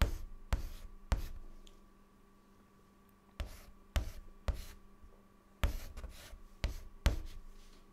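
A white chalk stick writes short strokes on a large, flat, dark, solid chalkboard. Ten sharp taps are heard, each followed by brief scratching that fades quickly, with a pause of quiet in the middle and a faint steady hum underneath.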